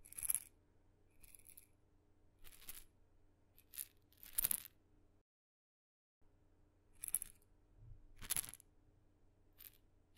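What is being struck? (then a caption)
Small painted wooden maraca with loose filling. A tiny red maraca with blue dots, a glossy painted wooden head with loose filling inside on a wooden handle, is held in the fingertips and shaken close to the microphone. Short, bright, crisp rattling bursts come at irregular intervals over a faint low hum, with a brief fully silent gap midway.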